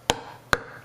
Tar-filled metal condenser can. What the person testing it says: it sounds pretty hollow ... you hear that ... that's hollow